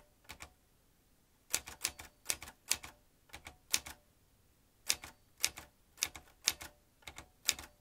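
Fast fingertip typing on a vintage metal manual typewriter with round keys and typebars produces sharp, bright clacks. The keystrokes come in quick pairs and short bursts separated by brief pauses. Each strike is crisp and dies away almost instantly, with very little low end.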